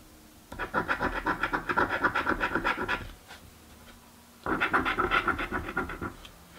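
A coin rapidly scratches the coating off a thin card "Mystic Riches" scratch-off lottery ticket lying on a dark table. Two bursts of quick, rasping strokes with a midrange scratchy texture are heard, separated by a short pause of near-silence.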